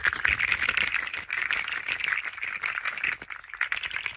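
A hand-sized green and yellow plastic rainbow coil spring toy, a hollow slinky-like coil, is shaken and squeezed rapidly between both hands. It produces a dense, continuous stream of bright rattling clicks centered around 2 kHz, with almost no low end.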